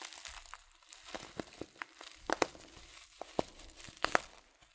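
A filled, glossy coated paper tea packet of loose-leaf tea is squeezed, crinkled and tilted in a hand. Soft, irregular crinkling rustles are broken by sharp, bright crackles and pops, with the loudest snaps near the end.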